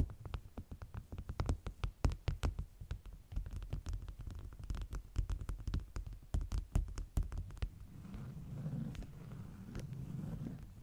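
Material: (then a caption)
Waxed cotton. Long nails tap and scratch the top sheets of a stack of flat, beeswax-coated cotton food wraps with a bee print lying on a table. A rapid run of short, dull, low taps with quick crackly clicks fills the first eight seconds, then gives way to a softer, steady scratching rustle to the end.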